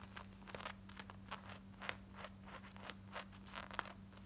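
Long nails scratch the back waistband, belt loop and pockets of worn, light blue distressed denim shorts in quick, irregular strokes. Each stroke gives a short, bright, rough scratch over a faint steady low hum.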